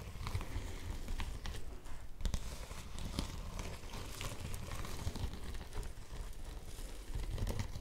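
A yellow woven polypropylene bag is held in both hands while long nails scratch across it and fingers crinkle it. The result is a steady, dense stream of close, dry crinkles and scratchy taps with a muffled, low-heavy body, short sharp bursts, and no ringing.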